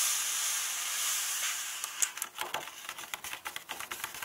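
Fingertips and long painted nails rub and tap the paper pages of an open hardcover book, with the same contents spread throughout. A steady, bright, hissy rubbing fills the first couple of seconds, then gives way to a string of sharp, dry, irregular taps and light scratches that stop almost instantly.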